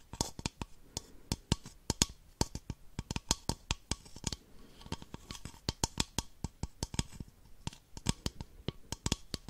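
Long nails tap an empty, hollow, clear plastic baby bottle held in one hand, making 34 quick, irregular taps over nearly ten seconds. Each tap is a sharp, bright click with a soft low thump underneath that dies away almost instantly, leaving quiet gaps between them.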